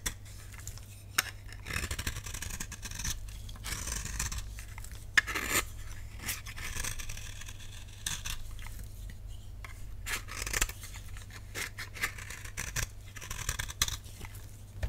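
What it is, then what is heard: Dry soap bar shaved with a blade. A utility knife blade repeatedly scrapes and shaves the flat face of a solid oval pink dry soap bar held in the palm. The result is a run of dry, crisp, bright scraping strokes with short rasping bursts, over a steady low hum.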